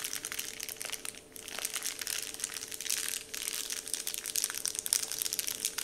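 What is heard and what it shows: Fingertips tap and crinkle a large, flat, heart-shaped, Dove-printed paper candy wrapper sheet. The result is a dense, bright, crackly rustle with almost no low end and brief quieter dips near 1.2 and 3.2 seconds.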